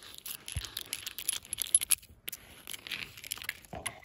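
Brass thimbles worn on the fingertips tap and scratch the round sawn end grain of a solid firewood log with visible growth rings. A quick run of bright, metallic clicks and dry scratchy rasps is heard, mostly high-pitched with a faint high ringing overtone and an occasional soft low thump. Each tap is short and dies away almost at once.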